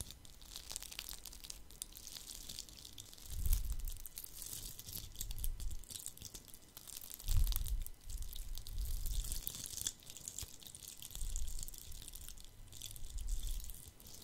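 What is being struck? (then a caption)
Glitter-covered Christmas bauble. A palm-sized, red glitter-covered Christmas bauble is scratched with fingertips and nails while being moved from side to side in front of the microphone. It makes a steady, crinkly, bright scratching hiss with soft low rumbles that swell and fade as the ball passes close, loudest around 3.5 and 7.3 seconds.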